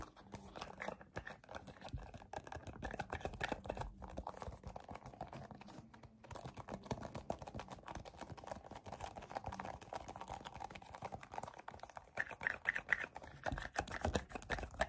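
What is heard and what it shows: A white soft plastic cosmetic tube with a yellow cap, hollow and filled with cream, is gripped and rubbed with fingertips and short nails. This makes a steady stream of dense, dry crinkling taps and scratches, close and quiet, with a brief pause near the 6-second mark.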